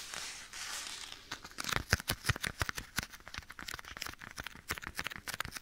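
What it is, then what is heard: Leather glove. Bare fingertips tap and scratch the surface of a black leather glove worn on one hand, held beside the right ear of a binaural microphone. It opens with about a second of soft, hissy scratching, then turns into quick, irregular taps with dry, bright clicks and short low thumps, each dying away almost at once.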